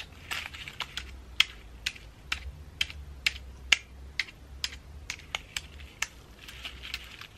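Long acrylic nails tap and scratch the scales of a pine cone ornament ball decorated with dried flowers, held in the hand. The result is a quiet, irregular run of sharp, dry, bright clicks that stop instantly, with soft scratchy rustling between them over a faint low hum.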